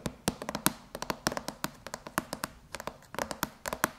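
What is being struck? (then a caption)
Aluminum laptop lid. Long chrome-polished nails tap rapidly across the closed silver aluminum MacBook lid with its white Apple logo, sounding on the hollow laptop shell. The many sharp, quick clicks come in an uneven flurry with a bright metallic ping near 1 kHz, and each dies away almost instantly.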